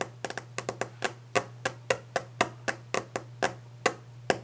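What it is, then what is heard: Wooden desk top tapped. Long orange-painted fingernails of both hands tap rapidly on a large, solid, varnished wooden desk top. Eighteen short, dry clicks with a slightly hollow, woody tone ring out at an uneven pace over a faint steady low hum.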